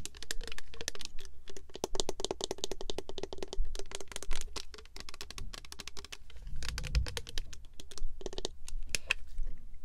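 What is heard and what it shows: A full clear purple plastic Love Spell Unwrapped mist bottle with a gold cap is tapped with long nails on its cap and body. Rapid, dense clicks and taps run throughout, with a faint steady tone in the mid range and bright, sharp transients that decay almost instantly.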